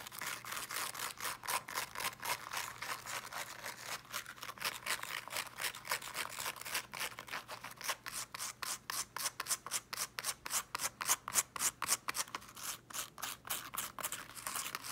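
Long nails rapidly scratch and rub the small teal woven fabric mesh cover of a small speaker with a solid body, held close. The result is a fast, fairly steady stream of about 60 dry, bright scraping strokes with almost no low end, each dying away instantly.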